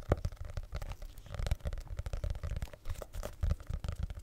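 Fingertips and nails tap and scratch the cardboard cover of a small, solid red hardcover notebook with paper pages, held close to the microphone. A dense, irregular run of soft, dull thumps and rustling scratches follows, heavy and boomy in the low end with very little brightness. Each tap dies away almost instantly.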